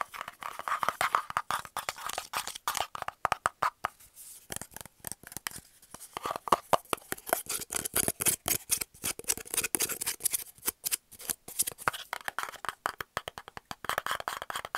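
Fingernails rapidly tap and scratch a round, hollow, brown cardboard tube cap held in the hand. The result is a fast, irregular stream of dry, papery clicks and scratchy rasps, centered in the midrange with a bright edge and almost no low end. Each hit dies away almost instantly.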